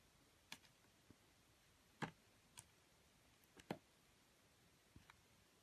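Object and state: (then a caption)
Bar soap being sliced. A metal utility blade slices the rim off a solid, pale yellow, ring-shaped bar of soap held in the hand. Six short, crisp cuts and scrapes rise from near silence at irregular intervals, each a quick, dry, bright click with no ring.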